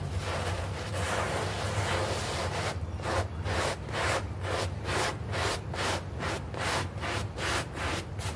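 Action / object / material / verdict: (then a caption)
scrape / synthetic turf doormat, plastic artificial grass / plastic turf / none. A hand brush scrubs a small, foamy green artificial-grass synthetic turf doormat, making a dense, bright, hissing rub. The scrubbing is continuous at first, then breaks into rhythmic back-and-forth strokes at about two per second over a steady low hum.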